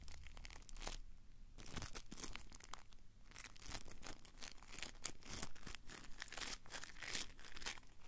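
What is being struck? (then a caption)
Small soft foam piece. A small, soft blue foam piece about palm size is squeezed, crumpled and rubbed between the fingertips of both hands. It makes a steady run of dense, crinkly crunching and tearing-like rasps with bright, airy texture. The rustling never fully stops, swelling and easing without any ringing tail.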